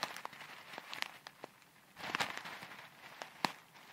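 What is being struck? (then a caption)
Small plastic bag of foam beads. A small clear plastic bag full of tiny colourful foam beads, held near the microphone, is squeezed, crinkled and shaken with long red nails. Quiet, bright crackles and sharp little ticks sound over a soft rustle, with a denser, louder crinkling stretch in the middle and a crisp snap near the end.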